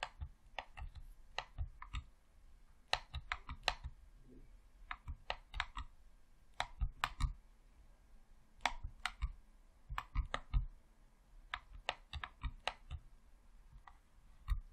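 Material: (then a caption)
Plastic. A hollow red plastic Xbox controller has its thumbsticks and face buttons clicked rapidly by thumbs. The result is a quiet, irregular run of sharp, short clicks with bright tops and a dull low thump beneath each press. Some clicks land in quick clusters, and short gaps fall between them.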